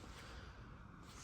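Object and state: Nothing is struck.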